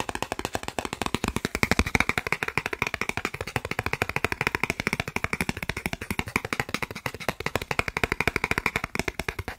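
A thin, solid, credit-card-sized green plastic gift card is held in one hand and rapidly tapped and scratched with the fingertips and nails of the other hand. It makes a fast, steady stream of dry, sharp clicks with almost no ring, bright and crisp with a faint low thump under each tap.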